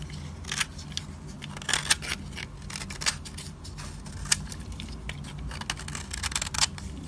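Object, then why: Soap bar shaved with a metal blade. A solid, dry, cream-colored soap bar held in the fingers has its edge shaved with a metal utility-knife blade, peeling off powdery shavings. Short, dry, bright scraping crackles come in quick irregular bursts over a steady low hum.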